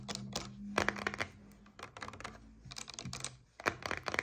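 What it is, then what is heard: Coconut water carton. Long nails tap quickly on a paperboard coconut water carton lying on its side. The result is bursts of crisp, dry clicking with a bright edge and almost no ring, separated by short pauses, over a faint low hum.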